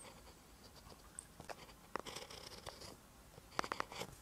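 A ballpoint pen tip writes on a lined paper notebook page, making quiet, dry scratching strokes. Short sharp ticks and brighter scratchy bursts stand out over a soft, faint hiss. A quick cluster of crisp strokes comes near the end.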